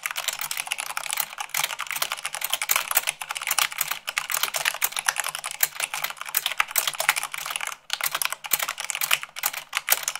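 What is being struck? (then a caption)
Mechanical keyboard with plastic keycaps. A mechanical keyboard with white plastic keycaps on a black base is typed on quickly, at about 98 words per minute, using fingertips and long nails. A dense, steady stream of sharp, bright clacks with very short decay runs throughout, with almost no low-end weight and only brief dips between bursts.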